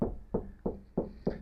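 Five taps on the rear door of a 2025 Ford Transit Custom MS-RT van, which has no soundproofing and no speakers fitted. Each tap is short and hollow with a quick, tinny ring centered in the low mids, unlike the treated front door.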